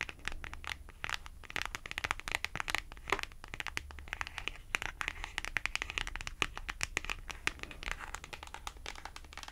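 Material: Cardboard.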